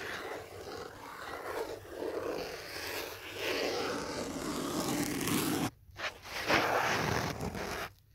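Fingertips and nails scratch and tap the surface of a thick black foam phone holder with cut-out holes and a phone set inside, held in both hands. A steady, rough, broadband scratching rustle runs throughout, with brief drops to near silence around the six-second mark and at the end.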